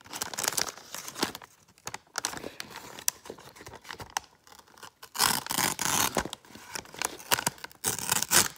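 An open, empty brown kraft paper bag is crinkled and scratched with fingers and nails. Dry, crackling crinkles and scratchy rustles come in quick bright bursts with almost no low end. There are louder stretches of dense crumpling near the middle and at the end.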